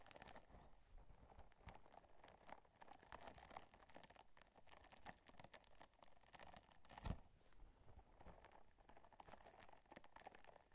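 Long nails scratch and rub the bumpy surface of a small, pink, textured, soft and flexible silicone scrubber held in one hand close to the microphone. The result is a quiet, continuous stream of dense, crackly patter and bright crinkly ticks, with one louder sharp snap about seven seconds in.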